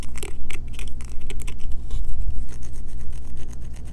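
A solid green bar of soap, held in both hands, is scratched quickly with long fingernails, sending soap shavings falling onto a table. The clip is a run of rapid, uneven, bright scratchy bursts over a steady low hum.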